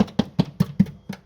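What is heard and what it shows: Six quick taps on the rotten, thin steel of the rear inner wheel arch of an Audi A4 1.8T Quattro give short, dull thuds centred around 200 Hz that die away almost at once. The metal was tapped through into a hole, so the rust repair is bigger than planned.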